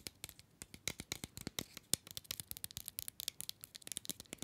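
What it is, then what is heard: Paper-wrapped mini chocolate bar. A small solid chocolate bar in an orange paper or card wrapper is held upright between the fingers and tapped and scratched with the fingernails of the other hand. About 28 quick, dry, bright clicks and scratchy rasps follow each other at a soft level, each dying away almost instantly.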